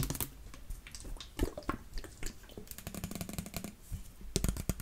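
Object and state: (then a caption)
Plastic water bottle with liquid. A clear plastic water bottle with a yellow cap, partly filled with water, is held in one hand and shaken and tilted so the liquid sloshes while long nails touch the bottle. Quick, dry clicks and taps rise over a low, heavy sloshing rumble, with sharper, louder knocks near the middle and end.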